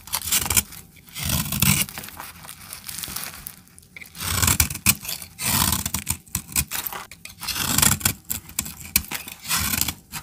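A blade scrapes shavings off the end of a solid brown bar of dry soap held in the hand. Repeated bright, gritty scraping strokes rasp and crackle in uneven bursts, with brief low thumps beneath and short pauses between them.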